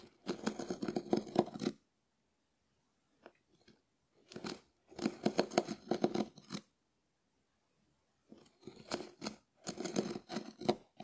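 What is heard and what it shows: A hard, dried, hand-sized, scallop-shell-shaped konjac sponge with a porous ribbed surface is held in the fingers and scratched with the bowl of a small wooden spoon. Three bursts of dry, crackly, rasping scratches with a bright edge are separated by near-silent pauses that hold only a few faint ticks.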